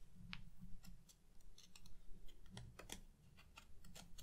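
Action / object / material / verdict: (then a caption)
tap / cardboard backing board of a watercolor paper pad / cardboard / none. Long painted nails tap along the surface and top edge of the large, flat, stiff white cardboard back of a watercolor paper pad, held upright in both hands. About seventeen quiet, short, dry ticks and clicks sound in an irregular run over a low, steady rumble. Each tap dies away almost instantly.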